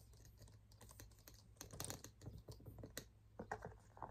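Fingertips and nails tap quickly on a hollow cream and light-blue leather shoulder handbag with a dark strap and tan trim, held up by hand, striking both the leather body and the strap. The taps are soft, dull clicks with short decay, some sharper and brighter, over a steady low hum.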